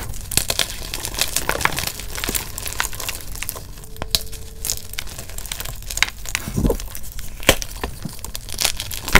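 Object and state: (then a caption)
Reformed gym chalk block being crushed. Fingertips and thumbs press and crush solid, brittle blue-dyed reformed gym chalk blocks in a bucket beside glittered chalk bars, breaking them into flakes and powder. Dense, crisp crunching and crackling runs throughout, with bright, glassy snaps and sharp cracks over a low rumble of crumbling.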